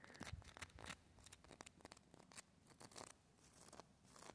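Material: Bark.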